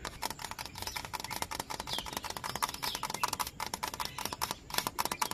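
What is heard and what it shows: A fingertip and nail tap rapidly and steadily low on a hollow yellow bamboo culm outdoors, producing a dense run of short, dry, bright clicks with a hollow tone around 1 kHz that dies away almost instantly. Birds chirp in the background.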